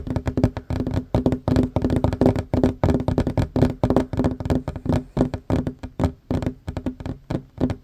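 Both hands fast-tap a flat, solid wooden tabletop with a worn varnished surface, using short fingernails and fingertips. The result is a rapid, uneven run of dull knocks and thunks with a faint resonant tone around 260 Hz. Each tap is short and dry and dies away almost at once.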